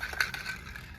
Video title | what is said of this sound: Shooting Spray Paint Cans. What's Inside? – Outdoors with Trav | there's a marble in a can of spray paint. You can hear it when you shake it.